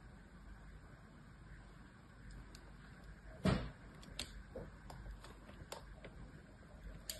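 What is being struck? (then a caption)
Bar of soap. A thin metal blade scores and scratches lines into the surface of a solid rectangular bar of white soap, held in one hand as it lies on a blue cloth beside other bars. Over a low, steady background hum, a sharp, loud scrape cuts in midway, followed by a series of lighter, brief scratching clicks.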